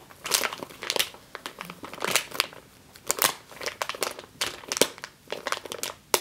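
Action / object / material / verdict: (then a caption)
scrape / plastic bag filled with flour / plastic / none. Long green nails crush and scratch a medium clear plastic bag with a yellow label, full of flour or grain. Bright, dry crinkling and crunching come in quick irregular bursts with brief quiet gaps, with almost no low end.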